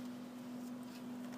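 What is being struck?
Nothing is struck.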